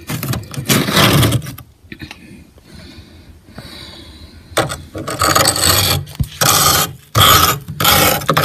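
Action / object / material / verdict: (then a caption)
scrape / frost ice layer in a freezer, scraped with a metal spoon / ice / none. A metal spoon scrapes across ridged frost buildup of solid ice on a freezer ceiling. Loud, bright, gritty scraping comes in bursts with a quieter, softer stretch between them.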